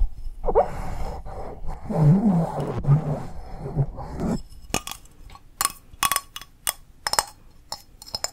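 An empty, hollow pink glazed ceramic coffee mug is held upside down and sideways while long nails tap its outside. A low, muffled rumbling and scraping fills the first half, then gives way to a series of sharp, bright clinks with very short ring.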